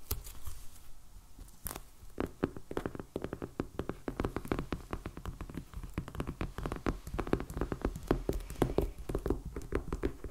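Fingertips and nails of both hands tap fast on the cover of a solid, medium black hardcover sketchbook, still in plastic shrink wrap with a paper band and lying flat on a table. The result is a dense, steady patter of short, dull thumps with a low body, each dying away almost at once. Brighter crinkly clicks from the wrap sit on top of the thumps.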